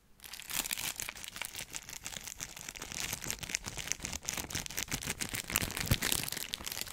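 A small rectangular cardboard box wrapped in clear cellophane is held in one hand while fingertips squeeze and crinkle the plastic wrap. It makes a continuous, bright crinkling and crackling with dense, rapid snaps and a little low rustle underneath. The sound starts quietly, rises within the first half second, and stays fairly steady to the end.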